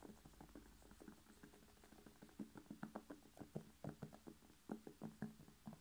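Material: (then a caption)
Vegetable. Fingernails tap and scratch a whole red bell pepper, hollow with a glossy skin. Quick, soft, hollow taps with a low resonant tone and faint scratching come in an irregular pattern that gets denser and louder in the second half. Each tap dies away almost at once.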